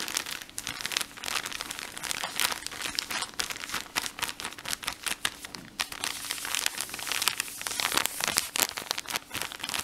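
Fingertips with short nails press and crinkle a soft blue plastic film package of cotton pads, full and squishy. A dense, continuous stream of bright, crisp crinkles and crackles with no low rumble fills the clip, with fuller bursts of crinkling near the middle and end.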